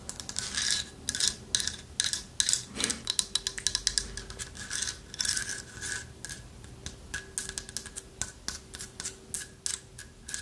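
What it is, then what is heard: Carved wooden owl figurine, scratched. Long nails scratch the carved surface of a light wooden owl figurine with a hollow lattice body. Quick, bright, dry rasping strokes come in dense bursts throughout, with a faint steady tone underneath and little low end.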